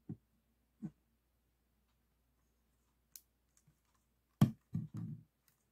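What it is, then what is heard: Plastic puzzle cube. Fingertips and short nails tap the glossy faces of a solid 3x3 plastic speed cube, about 6 cm, resting on a table, and the cube is turned to show another side. Seven short, dry taps are heard: soft, widely spaced ones early on, then a louder cluster near the end. The taps are dull and low with a few bright clicks, dying away almost instantly into quiet.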